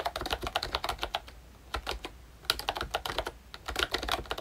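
Fingertips type quickly on a pink plastic ROYCHE Disney Mickey Mouse retro membrane keyboard with round keycaps and a hollow body. Short, bright plastic clicks ring out in busy bursts, with two brief pauses around 1.5 and 3.5 seconds. Each keystroke is a dry tap centered near 1.4 kHz with little low end.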